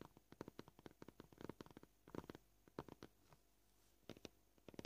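Short purple nails tap on a solid white plastic cutting board at a varying pace, sometimes in quick bursts and sometimes with brief pauses. The taps are soft, dry and clicky, with a low-mid body and almost no ring.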